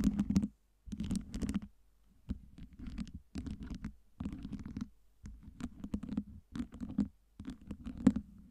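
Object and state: Acrylic LED ice cubes.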